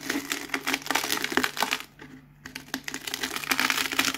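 A cardboard Pringles can is rolled by hand over a pile of crisp potato chip pieces, crushing them. Dense, bright crackling and crunching fills the clip, with a short quieter lull about halfway through before the crushing picks up again.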